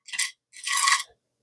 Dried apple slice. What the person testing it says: You can hear how crispy they are. They do have a little chew to them